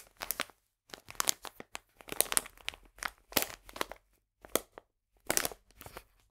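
A full, printed plastic bag of polenta is turned and squeezed in the hands, giving bursts of sharp, bright crinkling and crunching. The bursts are broken by short quiet gaps.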